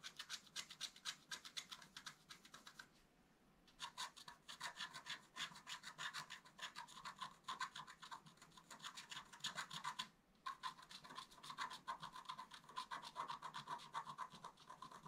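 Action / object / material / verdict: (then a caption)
scrape / black-coated scratch art paper scratched with a wooden stylus / coated paper / none. A wooden stylus scratches a flat, black-coated scratch art paper card in short, quick strokes, making a bright, dry rasping. The strokes come in fast, uneven bursts with a strong tone around 1 kHz, broken by a quiet pause near 3–4 seconds and a brief one around 10 seconds.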